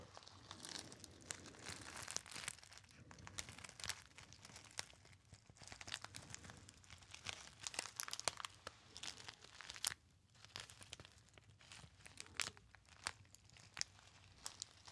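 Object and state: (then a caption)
Gold foil pouch being crinkled. A small, hollow and apparently empty gold metallized foil pouch is crinkled by fingertips. The result is a steady, dense stream of bright, crisp crackles and sharp snaps, with a brief quieter stretch near the middle before the crinkling picks back up.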